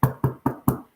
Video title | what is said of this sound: How to Make the Most Delicious Vegan Black Bean Torta Sandwich! | knock on it if it sounds hollow then yeah then it's done